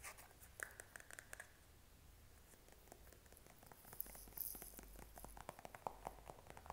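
A plastic Noxzema cleanser squeeze tube is held in the hand and tapped and scratched with short fingernails. Quiet, dry clicks and taps are scattered through the clip over a soft, scratchy rustle, with a faint low hum beneath. The sharpest taps cluster near the start and the end.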